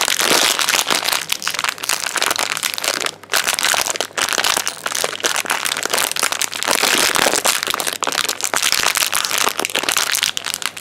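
A small, shiny blue foil-plastic chocolate wrapper is crinkled and squeezed between the fingers close up. It makes a dense, bright, continuous crackling with a brief pause around three seconds.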